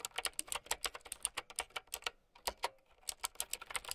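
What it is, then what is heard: Plastic mechanical keyboard being typed on. Fast, bright clicks come from typing with long painted nails and fingertips on a mint-green typewriter-style mechanical keyboard with round plastic keycaps and a hollow plastic case, resting on a fur blanket. About 25 sharp, short-ringing keystrokes are heard, with a brief pause in the middle before the typing resumes.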